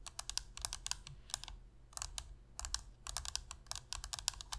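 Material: Plastic.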